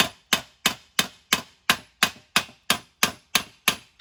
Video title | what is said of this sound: How to..Mercedes W163 front wheel bearing replacement..LONG !! | you can hear that stiffer it's hard to explain it's a stiffer sound